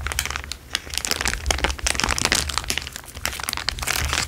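A large, thin, crumpled clear plastic sheet is stretched and crinkled by hand, then pressed onto a table with the fingers. A dense stream of bright, crisp crackles and crinkles rises and falls over a faint low rumble, each crack dying away almost instantly.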